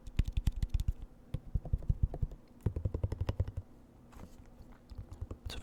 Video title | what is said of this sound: ASMR Eating KFC Mukbang Chicken Tenders, Fries, Macaroni & Pepsi (Whispered Rambling) | You can get quite a range of sounds from a half empty bottle. Just the density of all the ketchup makes it a bit of a thumpier tapping as opposed to a more hollow tapping.